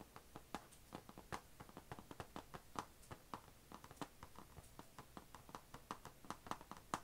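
Long nails tap on the closed lid of an HP laptop, a thin, hollow, dark grey painted plastic/metal shell, moving over the lid and around its chrome logo badge. Around 32 quick, quiet, dry clicks come in an uneven rhythm, each with a hollow tone near 1 kHz and almost no ring.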